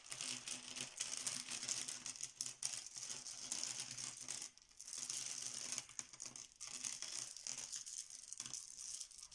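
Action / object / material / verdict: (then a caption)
scrape / small plastic letter tiles on a stone countertop / plastic / none. A pile of many small, solid, cream plastic Bananagrams letter tiles on a marble countertop is shuffled and swirled with the fingertips and palms of both hands. The tiles clack together and slide across the stone in a dense, bright, continuous clatter, with brief lulls near the middle before the swirling resumes.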